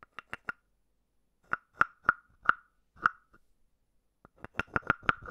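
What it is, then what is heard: Carved wooden frog. A palm-sized hollow carved wooden frog, held in the palm, is tapped on the top of its head with a wooden stick. Each tap gives a short, dry, hollow knock with a clear pitch around 1.3 kHz that dies away almost at once. The taps come in quick groups with pauses between, crowding into a faster run at the end.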